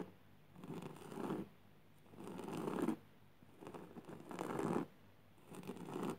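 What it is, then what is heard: Jute burlap fabric being scratched. A hand with long purple nails scratches back and forth across a flat, coarse jute burlap fabric surface. The result is soft, raspy scratching strokes with a low-to-mid scrape, separated by short quiet pauses.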